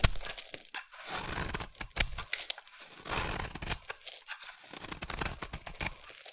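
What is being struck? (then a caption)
Bar of soap scraped with a blade. A utility knife blade scrapes a solid green bar of soap held in the hand, shaving it into curls. Dry, crisp scraping strokes with a bright, hissy edge come in uneven bursts, punctuated by sharp little clicks and brief quiet pauses between cuts.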